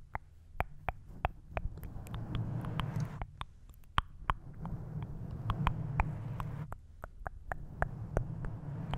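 A pink foam windscreen on a silver condenser microphone, a soft, porous, rounded cover over the mic head, is scratched and tapped with the fingertips and short nails of both hands. Muffled, low, rumbling scratching runs throughout, broken by many sharp, short taps with brief bright clicks.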